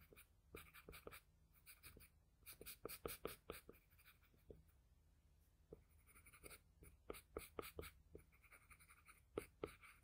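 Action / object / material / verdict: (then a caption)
scrape / graphite pencil on paper sheet / paper / none. A wooden graphite pencil tip makes dense, short scratching strokes across a flat sheet of drawing paper while drawing lips. The quiet, dry scratches come in quick clustered bursts separated by brief pauses, with a bright papery hiss over a faint low hum.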